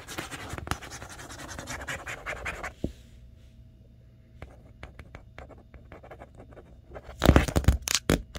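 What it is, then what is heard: Cardboard box. Long nails scratch and trace over the flat side panel of a large, hollow, printed cardboard TV box. Dense, papery scratching gives way to quieter, sparse ticks and light scrapes. A loud burst of rough scratching with a hollow, low thump follows near the end.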